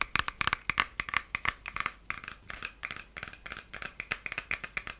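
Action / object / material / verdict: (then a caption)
flick / plastic hair brush with plastic bristles / plastic / none. Fingertips and nails run along and flick the white plastic bristles of a solid, hand-sized lilac plastic hair brush. The result is a rapid series of about 29 short, dry, bright ticks and rattling clicks with almost no low end and no ring.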